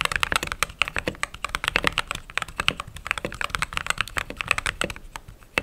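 Continuous typing with fingertips and long nails on a mechanical keyboard with white/cream plastic keycaps and some RGB glow under the keys. A rapid, steady stream of short, crisp clacks sounds bright and clicky, with little low end. Each keystroke stops dead with no ring.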